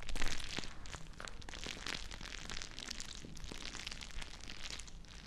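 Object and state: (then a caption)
Plastic bag of gel beads. A small, clear plastic bag filled full of teal gel water beads is squeezed and crinkled by fingertips with long nails close to the mic. Dense crackling and crinkling runs throughout over a low rumble, with many sharp pops and squishes.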